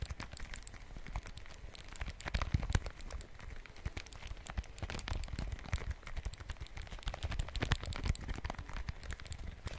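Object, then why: Small handheld plastic calculator. A small handheld dark plastic calculator with a keypad and screen, solid and held close to the mic, is tapped and scratched with fingertips and fingernails on its keys and casing. The result is a quiet, dense stream of short, dry clicks and scratches with soft low thumps underneath and no ring after each hit.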